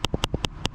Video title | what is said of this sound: Freewell ND filter set for GoPro Hero 8 Black | the camera is still moving around and banging inside the case